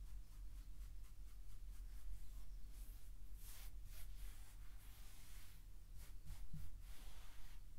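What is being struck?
Nothing is struck.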